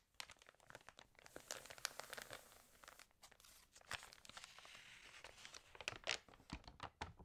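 The open pages of a water-damaged glossy paper fashion magazine are turned and crinkled by fingertips. The result is a dense, bright run of crackling, crinkling paper, with sharp, quick snaps rising above a steady rustle and almost no low end.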